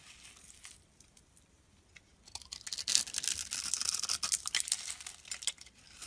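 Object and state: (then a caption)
Bar of soap being scraped with a blade. A metal blade scrapes across a solid blue and white striped soap bar held in the hand, cutting off crumbly flakes. Soft, sparse scratches give way midway to dense, crisp, bright scraping and crumbling that carries on to the end.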